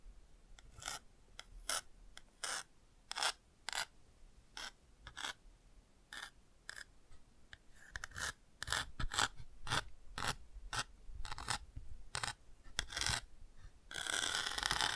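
A bamboo ear pick scratches the textured chick patch on the house/chick page of an open cardboard board book, which is tilted slightly. Short, bright, raspy scratching strokes come in an uneven rhythm, growing denser toward the end and finishing in a steady, brighter rasp.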